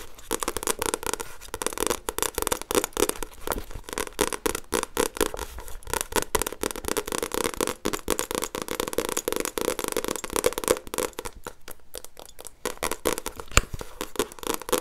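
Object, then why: Paperback book with glossy paper cover. A solid paperback book with a glossy paper cover is tapped and scratched with long nails. Quick, dry clicks blend with rough scraping across the cover in a dense, crackling stream. Each tap dies away almost instantly, with no ring.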